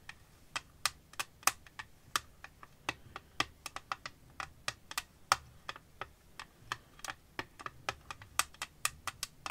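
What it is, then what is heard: Clear phone case tapped with nails. Long painted nails tap and scratch the back panel of an empty clear glass-and-plastic phone case with a dark green rim, held flat in one hand just above a lace-covered surface. About 33 crisp, bright clicks come in an uneven, rapid rhythm, each dying away almost at once with very little low end.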